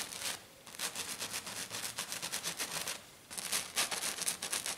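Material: Glitter card.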